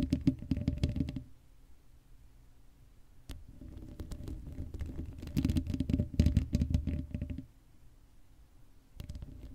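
Long acrylic nails scratch the hollow black metal mesh grille of a Blue Yeti microphone with no cover on it. Bursts of dense, low, rumbling scratching come at the start, through the middle and again near the end. Between them a faint steady hum remains.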